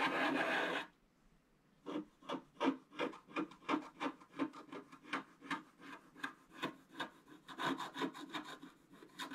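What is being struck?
Black-coated scratch-art paper card scratched with a wooden stylus.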